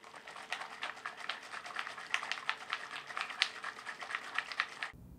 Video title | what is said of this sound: How to Patch a Hole in the Wall - Homax | after you hear that marble start to rattle. You may not hear that marble immediately, but it'll come.